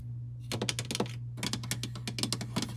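A large, hollow white plastic pod coffee machine with its lid open is tapped and scratched with long nails and fingertips around the pod holder and lid. A quick, uneven run of light, sharp clicking taps sounds, with short scratchy brushes between them. A steady low hum runs underneath.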